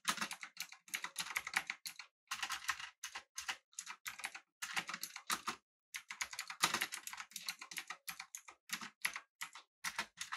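Both hands type with their fingertips on a full-size, backlit, typewriter-style mechanical keyboard with an aluminum body and round plastic keycaps. Rapid bursts of crisp, bright clicky keystrokes come in runs, with short pauses around two and six seconds. Each click is sharp and dies away almost at once, with no low-end thump.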